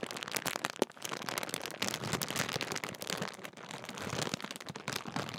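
Fingertips crinkle and fold a large Walkers sharing-bag crisp packet made of thin, metallised, foil-lined plastic film. The result is a dense, continuous stream of bright, sharp crackles and crinkles with very little low end, with one louder snap near the start.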